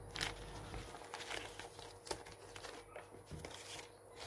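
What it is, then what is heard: Glossy paper magazine page being crinkled. Fingers scrunch and crinkle a page near the edge of an open glossy paper magazine lying on a wooden table, then smooth it flat. Quiet, bright crackling comes in short, uneven bursts over a steady faint hiss, each crinkle fading almost at once.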